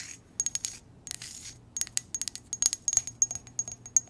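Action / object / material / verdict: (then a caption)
tap / ceramic coffee mug / ceramic / none. An empty, hollow white ceramic mug with a heart pattern is turned in the hands while long nails tap and scratch its sides and base. About eighteen sharp, bright clicks with a faint high ping ring out, each dying away almost at once, separated by soft scratching rustles.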